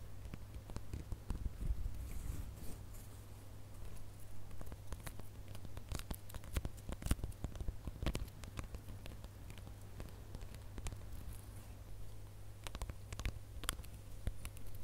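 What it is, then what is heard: Glitter plastic star ornament. Fingernails scratch across the surface of a gold glitter plastic star ornament, making quiet, dry patter and crackling scrapes. Many sharp, short clicks stand out over a low, steady hum.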